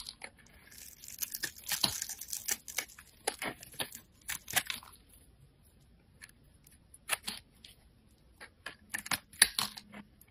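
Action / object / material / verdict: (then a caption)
scrape / bar of soap scraped with a metal blade / soap / none. A metal utility blade scrapes and carves small flakes off a handheld solid white bar of soap. It makes short, dry, bright crackling scrapes in uneven bursts, with a busy cluster early on, quiet gaps in the middle, and a few more cuts near the end. There is almost no low-end body.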